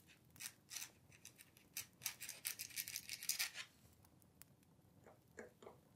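A dip pen or quill nib scratches continuously across a thin, flat paper letter sheet resting on a wooden table while writing. Quick, bright, scratchy strokes come in dense bursts for the first few seconds, then thin out to a few softer scrapes near the end.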